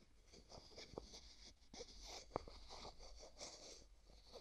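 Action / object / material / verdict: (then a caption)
scrape / small plastic jar with plastic screw lid / plastic / none. Fingertips twist and rub the white plastic screw lid of a small, hollow, translucent pink plastic jar held in the other hand. The result is a quiet, continuous scratchy rasp with a bright, hissy edge, broken by three short, dry clicks that ring near 500 Hz and die away at once.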